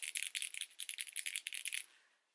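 A bottle of liquid glitter highlighter is shaken so the little ball inside rattles and mixes the glitter into the solution. About eight quick, bright, high clicking rattles with no low end come in rapid bursts, then fade into a faint hiss.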